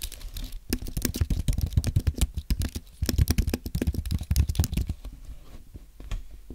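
Two hands type continuously with the fingertips on a white Apple Magic Keyboard, plastic keys on a thin aluminum base, resting on a white desk. Rapid, short, dry clicks with a soft low thump land in quick irregular bursts, with a brief pause near the middle and lighter, sparser taps toward the end.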